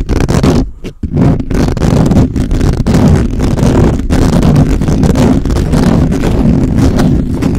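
Fingertips and nails scratch fast and hard across the top of a black microphone's hollow, perforated metal mesh head. The result is a loud, dense, continuous scraping rumble, heavy in the low end, that dips briefly near the one-second mark before carrying on steadily.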